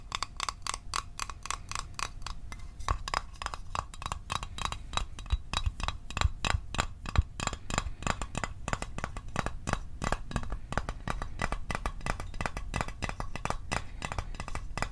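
A small, hollow, closed rectangular Altoids mint tin made of metal is held in the hands and tapped with fingertips and fingernails. It gives a fast, steady run of short, dry clicks and light metallic ticks with a bright edge and a dull low thud beneath, each tap dying away almost instantly.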